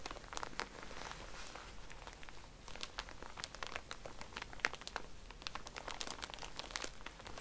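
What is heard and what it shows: A small, soft pack of cotton pads in a thin plastic wrapper is held in both hands while fingers and nails squeeze it. The wrapper gives a steady, quiet crinkling broken by many sharp, bright crackles and snaps, over a faint low rumble.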